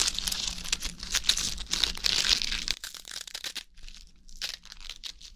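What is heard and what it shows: Fresh iceberg lettuce leaves are pulled off the head and crumpled and torn with the fingers close to the mic, giving crisp, watery crinkling and tearing. The sound is dense and bright for the first few seconds, then thins to quieter, scattered crackles.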